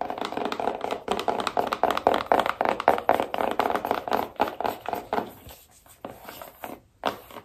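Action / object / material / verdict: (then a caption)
tap / small cardboard box / cardboard / none. Long nails rapidly tap and scratch the lid of a small, hollow, black cardboard iPhone box, at roughly four hits per second. The hits are short, dry and hollow, centred in the midrange with a bright scratchy edge and almost no low end. Toward the end they thin out into quieter, spaced taps with brief silences.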